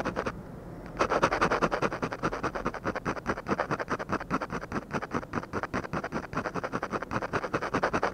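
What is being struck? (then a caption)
Ballpoint pen on paper sheet. A ballpoint pen tip scratches rapid, short strokes across a flat paper drawing sheet to shade an eye. After about a second of near-quiet, a steady run of dry, papery scratching begins, with each quick stroke rising and falling in a busy, uneven rhythm until the end.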